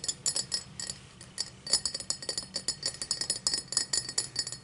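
Long matte black nails tap around the rim and base of an empty, tall cut-crystal highball glass. The result is a rapid, uneven run of bright, high clinks that ring only briefly, with a short quieter pause near the first second.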